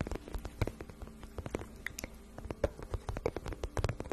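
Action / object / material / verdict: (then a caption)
tap / glossy vinyl pouch / vinyl / none. Long painted nails tap and scratch a shiny pink patent vinyl pouch, medium-sized, hollow and apparently empty. The result is a quiet, rapid patter of soft, dull taps with a low thumpy body, broken by dry scratching. Each tap stops short with no ring.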